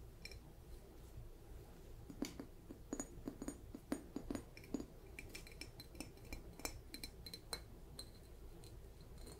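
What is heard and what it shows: A hand-sized, hollow, light blue polka-dot ceramic mushroom-shaped jar with a lid is held in one hand while long nails tap on its lid and body. Rapid, uneven clicks and clinks sound with a glassy, bright edge and a brief low ring, each dying away almost at once over a quiet, steady low hum.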